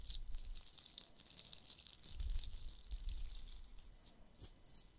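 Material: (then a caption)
Plastic. A palm-sized, hollow, red glitter-covered plastic Christmas bauble with a gold cap is held in one hand and scratched and tapped with fingertips and nails. The result is a quiet, bright, gritty scratching and crackling over soft, dull low thumps, rising and fading through the clip.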